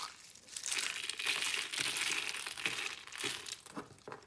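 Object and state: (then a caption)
Dry brittle soap curls crushed. Pink and white rose shapes made of thin, brittle, dry soap curls, hollow and layered, resting on glitter paper, are crushed and crumbled between fingertips. A dense, bright crinkling crunch is heard with almost no low end, rising and falling in irregular bursts of crackle. The roses break down into flakes.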